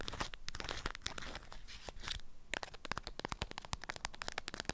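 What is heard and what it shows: Long acrylic nails scratch and crinkle a stiff, lemon-print beeswax-coated cloth wrapped around a small item. Dense, crackly crinkling fills the first half, then gives way to a quick run of sharp, bright, dry clicks and crunches that stop instantly without ringing.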